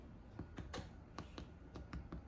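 Freshly baked pumpkin scones, just out of the oven and slightly golden brown on top, are tapped nine times. Each tap gives a short, soft, low, hollow knock. The hollow sound shows the scones are baked through.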